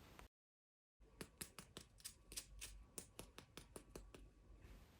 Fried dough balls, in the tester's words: صوت القرمشة هي قد إيه مقرمشة من برّه